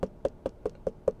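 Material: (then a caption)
Fruit. A store-bought fruit, apparently a melon, is knocked on to check whether it is ripe, with no verdict given. Seven short, evenly spaced dull knocks each give a brief hollow tone around 520 Hz that dies away almost immediately.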